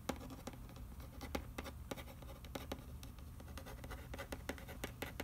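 Fingernails scratch and trace over the printed back of a hollow cardboard macaroni and cheese box with the nutrition panel. Quick, dry, crackly scratches with bright edges come in an irregular run over a steady low hum. The sound is quiet and close, and each stroke dies away almost at once.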